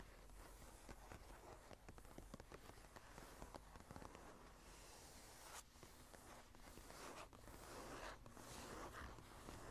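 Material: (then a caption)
Paper. Long nails on both hands scratch and tap across the blank cream paper pages of a small journal lying open. The result is a quiet, steady bed of dry, papery scratching broken by short, crisp taps that stop almost instantly. The scratching swells slightly louder and brighter toward the end.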